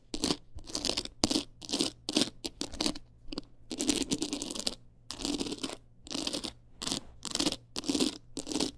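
Long acrylic nails quickly scratch a small, hard-shelled teal clutch wallet covered in rows of plastic rhinestones and beads. The result is bursts of bright, crunchy scratching with gaps of silence between them.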